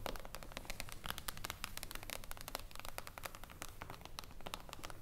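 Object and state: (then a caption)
Glass tabletop tapped with nails. Fingertips and long acrylic nails of both hands tap quickly on a flat, glossy, reflective glass tabletop panel resting solidly on a wooden table. A dense, rapid stream of sharp, bright clicks plays over a soft low rumble, each tap dying away almost instantly.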